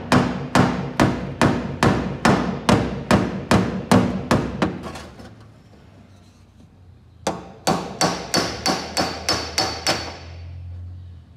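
A wooden-handled steel body hammer taps repeatedly on the dent above the wheel arch of a car's painted white, thin, hollow sheet-steel rear quarter panel, possibly with a dolly held behind it. About twelve sharp, bright metallic taps land in a steady rhythm, followed by a pause of about two and a half seconds, then nine more quick taps. Each tap rings only briefly.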